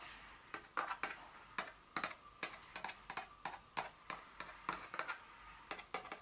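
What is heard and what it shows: Long nails tap and scratch the surface and edges of a small, hollow, printed paperboard Dior fragrance box lying flat. The result is a quick, irregular series of light, crisp clicks with bright, papery scratching between them and a faint hollow tone around 1.2 kHz. Each tap dies away almost instantly, with almost no low end.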